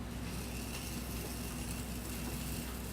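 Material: Nothing is struck.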